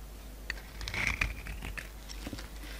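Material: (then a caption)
Soap. A solid white bar of soap with a burgundy rim is held in the hand and shaved and cut with a pink utility knife, flakes breaking off. Soft, dry scraping and crisp little crackles sound over a low hum, with a brief high-pitched squeak of the blade near the middle.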